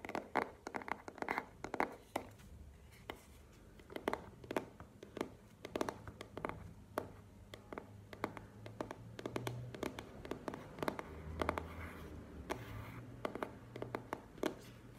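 Long painted nails tap and scratch the surfaces of a small, hollow black cardboard product box held close to the mic. Quick, dry, hollow taps come in uneven bursts, and softer scratching and rubbing fill the gaps. A faint low hum sits underneath.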